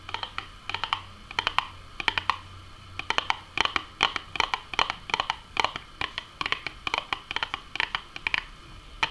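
Long manicured nails tap and scratch the front and top of a small, hollow, closed printed Burger King Nuggets cardboard box. The result is a quick, irregular run of dry, clicky taps in bursts, with a papery midrange body and bright crisp edges that stop dead with no ring. Soft scratchy rustles and a faint low hum sit beneath the first few seconds.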